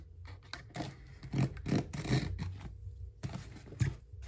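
Hands hold and rub a medium, hollow, closed corrugated cardboard box sealed with brown packing tape, lying on a white desk, while a pink box cutter slices and scrapes along the taped seam. Irregular bursts of dull, low-heavy scraping and rubbing rise and fall, each cut-off short with little ring, separated by quiet gaps.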